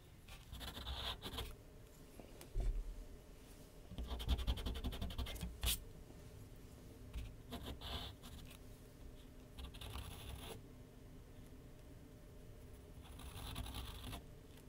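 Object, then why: Graphite pencil on paper mounted on a flat board. A graphite pencil draws continuous strokes across a large white paper sheet mounted on a flat board on an easel. Bursts of dry, scratchy, bright scraping come and go over a steady low rumble, with quieter pauses between strokes.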